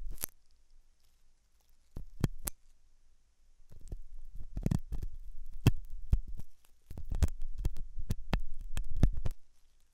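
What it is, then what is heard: Silicone ear model scraped with a metal tool. A hooked metal dental tool scratches inside the ear canal of a white translucent silicone ear model made of soft solid rubber, possibly mounted on a binaural ear microphone. The sound is close, low, muffled scraping and rubbing in uneven bursts, broken by sharp clicks and taps. Quiet gaps fall between the bursts.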